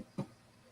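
A single knock on an imitation wood surface that is not real wood. It gives a short, dull thud centered low around 200 Hz that dies away within a fraction of a second.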